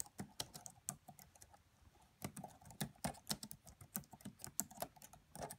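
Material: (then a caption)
Plastic. Fingertips with medium-length nails type quietly on the black plastic keys of a red laptop. About two dozen short, crisp clicks with soft low thuds and bright ticks come in uneven bursts, with a brief lull near the start. Each keystroke dies away almost instantly.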